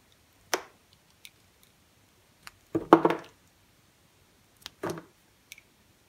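A utility knife cuts thin pieces off a small, solid piece of green semi-dry soap held in the fingers. Short, crisp clicks and snaps alternate with a few longer crunchy slicing scrapes, each dying away almost at once against a quiet background.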